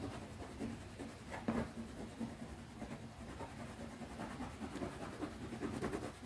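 Long nails scratch and tap rapidly across the top of a small, closed black pebbled-leather zippered pouch held in one hand. A steady, soft, dry scratching with light taps runs throughout, mostly low-mid and muffled, with one slightly louder tap about a second and a half in.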